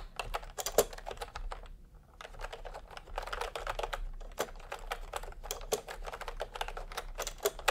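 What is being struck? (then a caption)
Plastic computer keyboard with round keycaps. Fingertips type on a full-size plastic typewriter-style computer keyboard with round retro keycaps in peach and cream, lying on a white cloth. A steady stream of quick, short clicky taps is heard, with a brief pause around the two-second mark before the typing picks up again.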